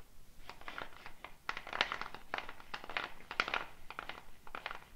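Fingernails pick at the wooden bead net on a hollow dried gourd shaker with a handle, then the shaker is raised and shaken. Dense, dry clicks and rattles of beads against the gourd come in quick bursts that are bright in the mid-to-high range. Each tap is short and quiet, with almost no ring.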